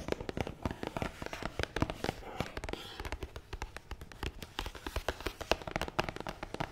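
Long nails tap fast across the top of a long, hollow, black matte cardboard box, making a steady stream of quick, dry clicks and soft knocks. Each tap dies away almost at once, with a hollow body centered around 645 Hz and a papery high edge.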